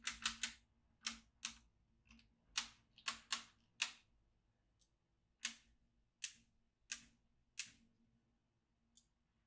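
A yellow magnetic pen is drawn across a black plastic magnetic drawing tablet, clicking its steel beads into place. Thirteen sharp, bright clicks come in quick irregular bursts, with a few fainter ticks between them. Each click dies away almost at once in a quiet setting.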